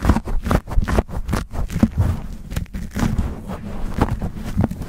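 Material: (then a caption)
Foam. Fingertips and short nails scratch and squeeze a black foam windscreen on a silver condenser microphone in fast, rough bursts. The result is a dense, muffled series of low, rumbling scrapes and thumps, with little high-end content.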